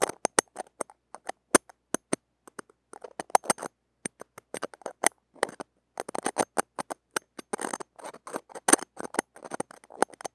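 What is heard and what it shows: Metal tweezer tips scratch and rub across the wires of a small, hollow, woven stainless-steel mesh grille on a mini microphone held in the fingers. The result is a dense, irregular patter of sharp, dry scratches and clicks with bright highs, almost no low end, and no ringing between strokes.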